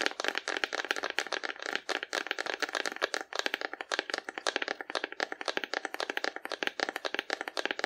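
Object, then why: Painted cardboard dinosaur figure. A hollow painted cardboard dinosaur figure, held horizontally, is tapped quickly and steadily with long nails for about eight seconds. Each tap is a short, dry, papery click with a hollow midrange tone, bright edges and no low end.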